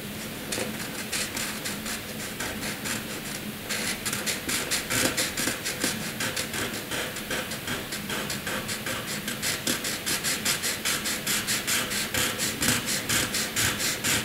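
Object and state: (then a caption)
Pencil shading on paper. A graphite pencil shades a box on a flat sheet of white drawing paper with rapid back-and-forth strokes, rubbing against the paper. The result is a bright, scratchy rasp in a steady rhythm of short strokes, which grows louder and more distinctly pulsed after the first few seconds.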